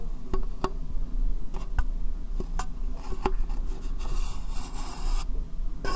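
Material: Plastic.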